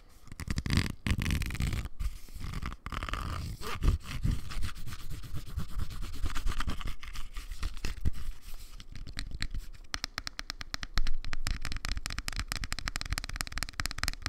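Fingernails scratch the rough textured plastic surface of a small, hollow, black cylindrical Bluetooth speaker held in the hand. The result is a dense, close run of rapid scraping strokes with a deep, hollow low rumble under a faint bright edge. Past the midpoint the strokes become quicker and more tightly packed.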